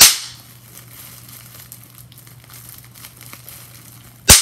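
A large sheet of clear plastic bubble wrap, held close, has its bubbles pinched with long-nailed fingers. Two sharp, bright pops sound, one at the start and one near the end. Between them come faint plastic crinkles and soft ticks over a quiet low hum.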